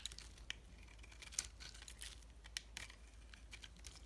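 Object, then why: Bar of soap scraped with a metal blade. A metal box-cutter blade scrapes the white interior of a solid, swirl-coated bar of soap held in the hand. Quiet, dry, crinkly scraping and short, bright ticks sound over a steady low hum, with a few sharper clicks standing out.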